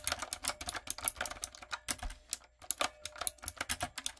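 Long coffin-shaped nails and fingertips type rapidly on a backlit, typewriter-style mechanical keyboard with round brown plastic keycaps on a dark frame. Sharp, bright clicks and clacks come in quick runs of about 26 taps, each dying away almost instantly, with one brief pause just before the middle.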